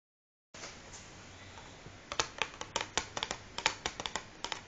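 Long fingernails of both hands scratch and then tap the printed top of a large, closed cardboard matchbox that lies flat on a wooden table, hollow and filled with matches. A soft, bright scratching hiss comes first, followed by about seventeen sharp, dry, clicky taps that die away almost instantly, with little low end.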